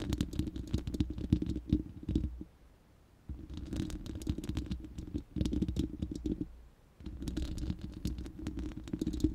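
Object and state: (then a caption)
Metal mesh microphone grille. Long manicured nails of both hands scratch and tap the uncovered, hollow, round steel mesh grille of a large studio microphone. The result is dense, rapid scratching and tapping with a deep, boomy low rumble and faint bright crackle. It comes in three busy bursts separated by two short quiet pauses.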